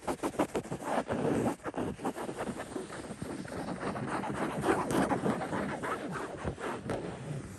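Fingertips scratch the woven fabric of a soft, stuffed cotton throw pillow with a floral print. Quick, uneven strokes start as separate bursts, then blur into a steady, dense, muffled scratching rustle centered in the mids with little bright top end.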